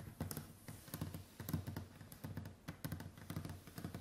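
Long white acrylic nails tap quickly across a large, solid, varnished wooden tabletop in a typing-like pattern. Each tap is a short, dull knock with a low body and a faint bright click at the tip, dying away almost at once. The taps come in quick, uneven bursts, like fingers rattling on a keyboard.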